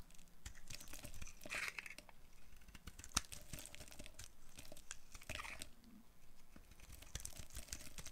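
A metal blade with a green handle shaves a solid, light green dry soap bar into chunks. Dense, crisp scraping and crackly crunching run almost continuously, with brighter bursts as pieces break away and one sharp snap near the middle, all over a low, quiet rumble.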